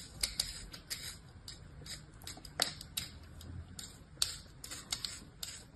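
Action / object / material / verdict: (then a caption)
scrape / kinetic sand scored with a plastic knife / kinetic sand / none. The blade of an orange plastic knife scores and scratches a flattened patch of beige kinetic sand resting on a palm in fast, repeated strokes. The result is a quiet run of crisp, bright, gritty scrapes, each short and dry, landing at an uneven pace with faint rustling between them.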